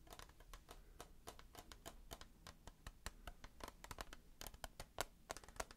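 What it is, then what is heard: Clear plastic tissue box. Fast fingertip and nail tapping on the side and corner of a hand-held, rectangular clear plastic tissue box that is hollow and full of tissues. The result is a quiet, rapid stream of short, dry clicking taps with a bright, crisp edge and almost no ring. The taps are irregular and sometimes come in quick bursts.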